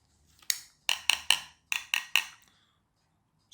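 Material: Plastic.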